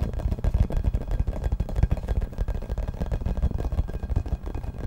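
Fingertips and nails tap and scratch a hollow yellow rubber or vinyl ball, about 15 cm across with a printed logo, held in both hands close to the microphone. The result is a rapid, steady run of dull, hollow thumps that are mostly deep and low, with very short decay and faint scratchy friction between them.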